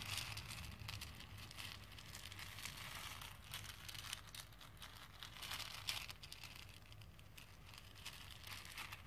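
Fingertips and nails push and stir small plastic faux pearl beads around a pink plastic bowl full of them. A quiet, steady stream of bright clicking and rattling rises and falls over a low background hum.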